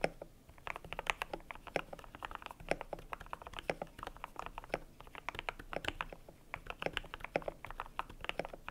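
Fingertips type steadily on a cream compact mechanical keyboard with PBT plastic keycaps. The result is a quick, uneven patter of short, dry clacks centred around the mid range near 560 Hz, with a bright top. Each keystroke dies away almost instantly.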